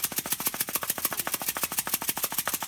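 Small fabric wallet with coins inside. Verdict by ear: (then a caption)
Secure. A closed small Lug fabric wallet is held upside down by its side and shaken hard, making the loose coins in its change pocket rattle. About 20 quick, bright, clinking jingles come in a steady rhythm, with almost no low end. Nothing falls out, showing the closed wallet holds its contents securely.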